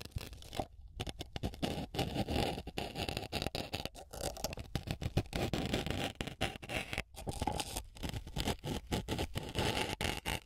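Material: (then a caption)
Melamine foam. A small white block of melamine foam sponge, held by long nails against a microphone capsule, is repeatedly pierced by a blue-headed map pin pushed in and pulled out. The result is a dense run of close, crackly piercing and scratching onsets with a low rumbling body and bright scraping hiss, broken only by brief pauses.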